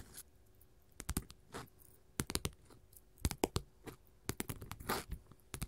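Long pointed gold metal finger-jewelry claws worn over the fingertips scratch and tap thin, solid glitter faux leather sheets lying flat on a table (multicolored blue, pink, silver, purple and copper strips beside a large green sheet), close to a stereo recorder. An irregular series of sharp, dry clicks and brief bright, gritty scrapes sounds, each dying away instantly, separated by quiet pauses.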